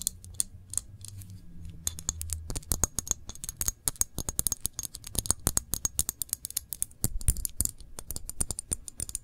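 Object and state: Glass jam jar, full.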